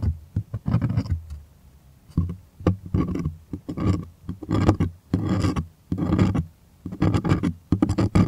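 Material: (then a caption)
Cotton canvas. Fingernails rapidly scratch the taut surface of a white, stretched, primed cotton artist canvas held close. The result is a series of dry, rasping bursts with a heavy low-end body, separated by short quiet pauses.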